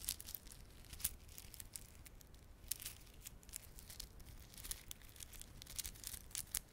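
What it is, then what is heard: Plastic beaded garland. A small clump of plastic garland, with glossy dark blue and silver solid plastic beads and red spiky plastic fringe, is held in both palms while fingertips rub and squeeze it. This makes a steady stream of quiet, bright clicking and crinkling, with sharper clicks popping out now and then over a soft low rumble.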